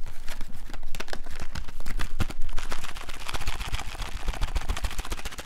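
A small, hollow, printed cardboard candy box of Bertie Botts beans is held in one hand and tapped rapidly with the fingertips and nails of the other hand. The result is a fast, uneven stream of dry, papery taps and clicky nail ticks, each cut off almost instantly, over a soft, hollow low thump.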